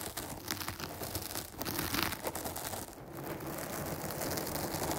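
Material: Foam.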